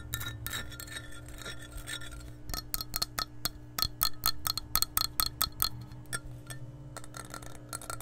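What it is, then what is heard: Glass measuring cup tapped and scratched with nails. An empty, hollow glass measuring cup is held above the microphone and scratched and tapped with long nails. Soft scratching gives way to a quick, uneven run of sharp, bright taps with very little ring. A steady low hum sits underneath throughout.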